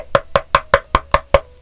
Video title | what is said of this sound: At $99 is the Drop Sense75 worth the effort needed? Quick Build, Review, and Stock Sound Test. | knocking on a piece of aluminum that's thick